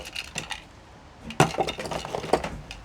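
A small mint tin is shaken to check what is inside, and the mints rattle against the container in a quick burst of clicks and clinks. A quieter patch of rattling comes first, then a brief pause, then sharper, louder shaking. The rattle shows the tin is full of mints.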